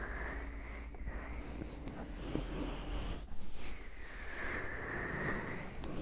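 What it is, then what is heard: Silicone microphone ears being scratched. Long manicured nails scratch and rub the white silicone ears and plastic housings of a 3Dio binaural microphone while both hands cup it. Up close this comes through as a dense, muffled rumble with soft scraping swishes, a hissy band swelling and fading on top, and a brief louder burst of rubbing midway.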